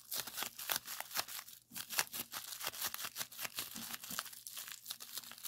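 Clear plastic bubble wrap, rolled into a tube and then laid flat, has its hollow bubbles squeezed and pressed with the fingers. The result is a rapid, dense run of bright, sharp crinkling crackles and little pops, each very short, mostly high in pitch with almost no low end.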